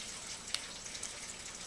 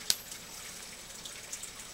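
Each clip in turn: First: zinc clad penny, dull dink with no ring. Second: copper penny, rings when flicked.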